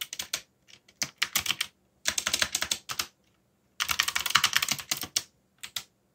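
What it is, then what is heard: Plastic mechanical keyboard. Fingertips type fast on a backlit mechanical keyboard with dark plastic keycaps. Bright, crisp clicks run together in bursts separated by short pauses. Each keystroke is dry and stops almost at once, with very little low end.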